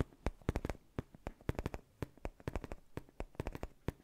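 A soft, black padded faux-leather neck pillow is tapped and scratched with fingertips and short nails right in front of the mic. About 22 quick, dry, muffled taps come in an uneven patter, mostly low and thumpy with brief scratchy edges. Each one dies away almost instantly.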